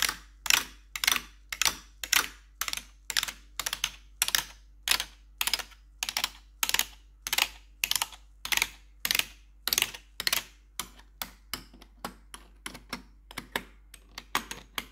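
A gloved hand with metal claw nails taps the keys of a black plastic RGB backlit computer keyboard. About 40 sharp, bright clicks fall at an uneven pace, each dying away almost instantly with little low end.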